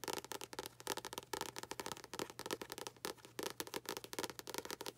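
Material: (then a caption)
Paper. A paperback book with a paper cover is held close and tapped rapidly on its front cover and spine with long acrylic nails. The result is a quick, uneven run of dry, clicky taps that are bright, with almost no low end and no ring after each tap, over a faint steady low hum.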